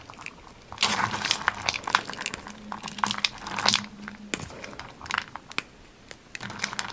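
Bare fingers snap and crumble a pile of thin white twisted solid wax birthday candles in a teal ceramic plate, crushing the wax pieces. Dense, bright crackling and crunching comes in bursts, punctuated by sharp, dry snaps that stop almost instantly. A faint low steady hum sits underneath.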